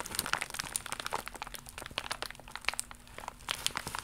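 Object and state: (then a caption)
Plastic mailer pouch being crumpled and scratched. An iridescent, embossed holographic plastic mailer pouch is crumpled by hands and scratched with long nails. Dense, bright crinkling and sharp crackles snap out in quick, uneven bursts over a faint steady low hum. Each crackle stops almost instantly, with no ring.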